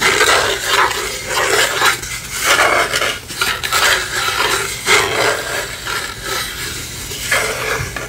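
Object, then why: Small hollow wooden lantern. Long fingernails tap and scratch a small hollow wooden lantern with palm-tree cutouts and a light inside, held in the hand. The result is a steady, bright, scratchy rustle with soft hollow knocks, concentrated around 2 kHz, rising and falling at an uneven pace across the clip.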